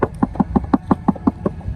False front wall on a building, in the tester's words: you go up and you pound on the wall it sounds Hollow